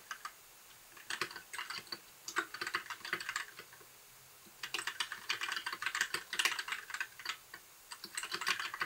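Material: Plastic.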